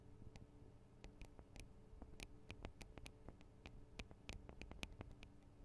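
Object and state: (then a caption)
Microphone capsules tapped with fingernails. Long acrylic nail tips tap quickly and irregularly on the tops of the two small hollow metal and plastic microphone capsules of a Tascam DR-40 recorder. The taps come through as soft, dry, bright clicks that stop almost instantly, over a steady low hum.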